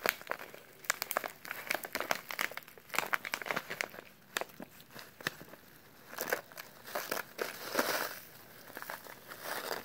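A small, filled brown kraft paper instant oatmeal pouch is squeezed and crinkled by latex-gloved hands. The result is dry, papery crinkles and crackles in quick bursts, with little low end. A denser stretch of rustling comes near the end.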